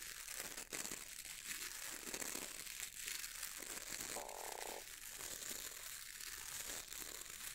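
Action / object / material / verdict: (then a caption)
scrape / bristle brush with wooden handle / bristle / none. Fingertips scratch and rub the stiff dark bristles of a boar bristle brush with a wooden handle, making a steady, dense, bright crinkling hiss. Around the middle, a brief humming tone rises above the scratching before the rubbing carries on.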